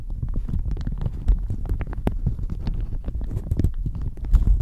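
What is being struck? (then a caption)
Thin plastic shower cap over a microphone. A thin, floral plastic shower cap stretched hollow over a microphone is scratched and crinkled with long manicured nails. The result is a dense, continuous stream of crackly scratches and crinkles, with a heavy, muffled low-end rumble under quick bright clicks.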